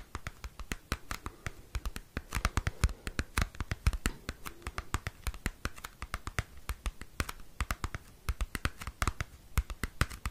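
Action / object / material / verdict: scrape / cardboard CD sleeve / cardboard / none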